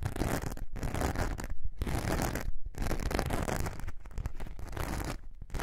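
A thin, flexible glitter foam craft sheet is held curved in both hands while long nails scratch across its glittery surface. Dense, rough scratching comes in sustained bursts separated by brief silent gaps, with the sound weighted heavily toward a low, rumbling texture.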